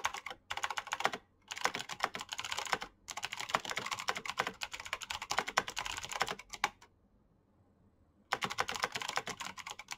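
Fingertips of both hands type fast on a black plastic backlit mechanical keyboard with clicky switches, producing dense bursts of bright, sharp key clicks. The typing stops briefly twice early on, then pauses for about a second and a half near the end before resuming.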